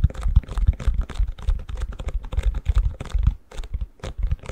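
Fingertips and nails tap and scratch the back of a long, empty white plastic ice cube tray held upside down. The result is a rapid, uneven run of short, dry, hollow taps mixed with crinkly scratching, each tap dying away almost instantly.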